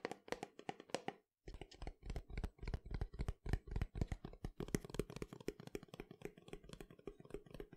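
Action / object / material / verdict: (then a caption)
tap / cardboard canister with plastic lid / cardboard / none. Fingernails tap on the yellow plastic lid and the sides of a tall cylindrical cardboard powder canister. The result is a rapid, uneven stream of short, dull, bass-heavy knocks that die away almost instantly, with one brief pause near the start.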